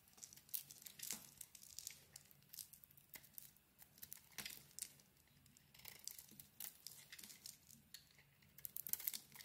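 A utility knife blade carves and scrapes the outer layer off a handheld solid pink bar of soap with a white core. The result is quiet, bright, crisp shaving and crackling strokes that come in quick bursts, each with a short dry tail and almost no low end.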